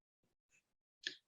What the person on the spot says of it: it should sound hollow and that's a good sign that your buns are ready